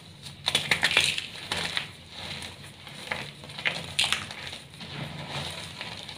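Palm-sized pieces of a solid block of brown, glittery, dyed and reformed gym chalk are squeezed, crushed and rubbed in bare hands with painted nails over a pile of chalk dust, breaking into crumbly chunks and powder. Bright, crisp crunches and crackles come in bursts, with quieter gritty rubbing between them.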